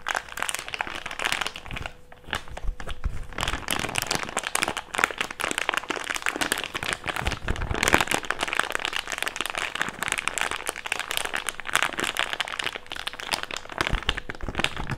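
An empty, thick, clear plastic bag is squeezed and crinkled into a wad with the fingertips. The result is a dense, continuous stream of sharp crackling and crunching at a steady level, bright and crisp, with a faint steady tone underneath.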